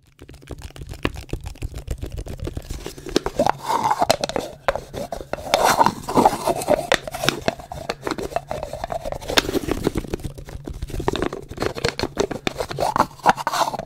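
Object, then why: Small wooden bowl with lid. Fingertips and short nails scratch and rub the curved surface of a small, hollow, polished wooden bowl with a lid, held in both hands close to the microphone. Dense, dry scratching and crackling fills the clip, with a hollow resonance around 800 Hz that swells during firmer rubs. Every sound dies away almost instantly.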